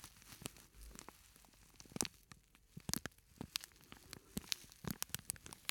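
A small, flat, purple-and-white printed plastic scent sachet with a granular filling is held in one hand and squeezed and crinkled with the fingertips. Quiet, bright plastic crinkles and crackles come in irregular bursts, with many sharp, dry snaps that stop instantly.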